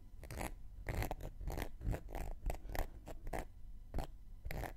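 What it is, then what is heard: Cork coaster. A thin wooden knitting needle scrapes the rim and surface of a round, flat, solid cork coaster held in one hand. It makes a run of short, dry, scratchy strokes at an uneven pace, each a brief rasp with a bright edge over a low, soft body. The strokes stop quickly with almost no ring, and the scraping stays quiet throughout.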